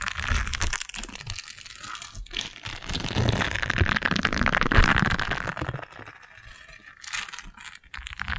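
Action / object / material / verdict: scrape / silicone scrub pad / silicone / none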